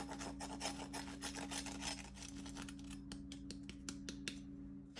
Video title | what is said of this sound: BEIGNETS CUISSES DAMES OU DOIGT DE LA MARIÉE | ils ont bien réussi bien croustillant